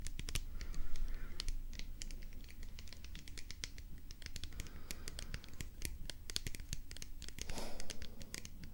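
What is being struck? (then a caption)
Plastic pump bottle. A hollow white plastic hair-product bottle with a pump top, held in the hands, is scratched and tapped with long painted nails. Quick, dry clicks and scratchy rasps run steadily over a quiet, low background rumble.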